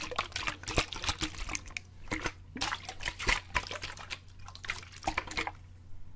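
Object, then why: Plastic bottle partly filled with water. A clear plastic bottle of water is held by the fingertips, shaken horizontally and then held upright so the water swirls inside. Bursts of bright, splashy sloshing rise and fall in irregular clusters over a faint, steady low hum. Each slosh cuts off quickly, ending in quieter trickling as the water settles.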